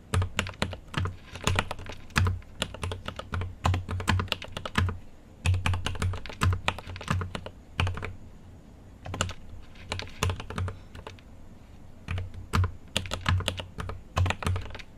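Fingertips type on a mechanical keyboard with an aluminium case and plastic keycaps. Quick bursts of clacking keystrokes, each a bright click over a deep thock, come in runs separated by short pauses. The keys stop ringing almost at once.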